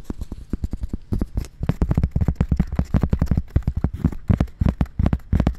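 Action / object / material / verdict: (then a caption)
tap / cork coaster / cork / none. A round, thin, solid cork coaster held against the side of a dummy-head microphone near the ear is tapped and scratched with long red nails. A quick, uneven stream of dull, low, thudding taps with very short decay is heard, mixed with soft scratchy brushing between them.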